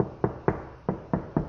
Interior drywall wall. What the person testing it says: An interior wall like this one does not have any insulation in it, so you can hear the hollow places.